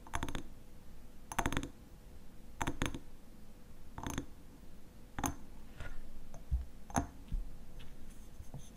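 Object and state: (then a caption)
Glass honey jar. A small hexagonal glass honey jar with a black lid, apparently filled with pale honey, is held in both hands and tapped and scratched on its glass sides with short fingernails and fingertips. Brief clusters of quick, dry, bright clicks with almost no ring are separated by soft scratching, over a faint steady low hum.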